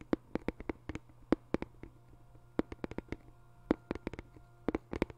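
A small white cardboard box, likely hollow, is held flat in both hands and tapped quickly with the fingertips across its surface. About two dozen short, dull, hollow taps with a low-mid tone come in uneven bursts, each dying away almost instantly over a faint steady low hum.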